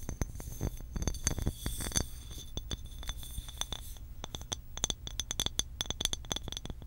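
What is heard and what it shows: Long acrylic nails tap rapidly along the body and neck of a medium cobalt blue glass water bottle with a blue cap. The result is a steady stream of sharp, dry clicks with a faint bright glassy ring that fades almost instantly, over a low background rumble.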